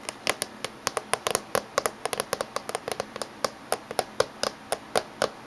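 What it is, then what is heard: Plastic laptop casing. Fingertips and medium-length natural nails tap rapidly along the top surface and edge of a closed-looking silver plastic laptop with USB and VGA ports on its back edge. Both hands make short, dry, clicky taps with a bright edge and a hollow plastic tone around the low midrange, each dying away almost at once. The taps come in quick, irregular bursts with no pauses between them.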